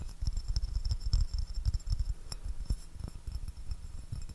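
A white porcelain saucer, held upside down, has its underside tapped and scratched with fingernails. The result is a dense, uneven run of quick, soft taps and scratches with short decay, heavy low thumping, and a faint thin high ring above.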